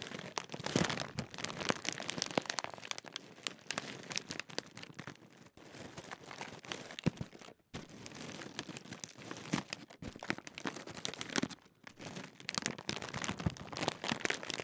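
Fingertips crinkle and squeeze the thin foil-lined metallised plastic film of a large Walkers Ready Salted crisp packet, partly filled with crisps. It makes a dense, bright, crackling rustle of sharp crunches, with brief near-silent pauses around 5.5, 7.6 and 11.8 seconds.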